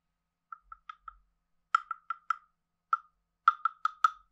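A hand-sized hollow carved wooden frog guiro has a wooden stick scraped along its back ridges, giving 13 short, hollow, woody croaks centered around 1.35 kHz at an uneven pace. Four quiet croaks come first, then louder ones in bursts with a few bright edges, each dying away almost at once.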